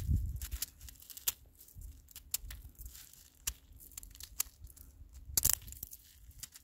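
A handful of icy snow crystals, snow that has turned to ice, is squeezed and crushed between gloved fingers until it crumbles away. Sharp, dry, bright crackles and crunches come in scattered bursts over a soft low rumble, with a louder cluster near the end.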